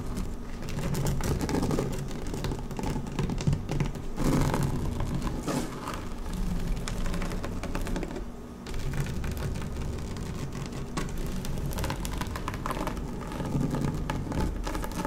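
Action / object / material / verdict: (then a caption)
scrape / woven vinyl placemat / vinyl / none. Long nails of both hands scratch across a flat dark blue woven PVC placemat lying on a table. The result is a dense, continuous rustling scrape of quick, overlapping scratches, weighted toward the low end with little brightness. It holds a steady level throughout, with a brief dip just past the halfway point.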